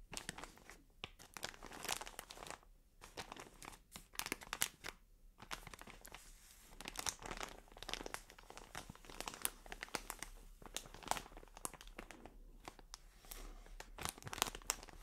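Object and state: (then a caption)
Plastic cotton pad package. A medium white plastic film bag full of cotton pads is held in both hands and scratched and crinkled with long dark nails. Dense, bright crackling and rustling comes in uneven bursts with brief quiet gaps, at a soft overall level.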